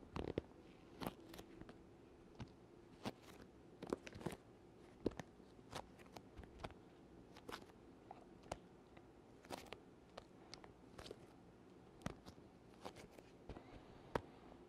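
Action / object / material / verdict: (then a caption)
tap / leather-covered hard instrument case / leather / none. Fingertips and a palm tap a closed, black, leather-covered rectangular hard oboe case tilted near the mic and peel off its covering. Quiet, sharp, dry taps and sticky clicking crackles come at irregular intervals over a low, soft background, each dying away almost instantly.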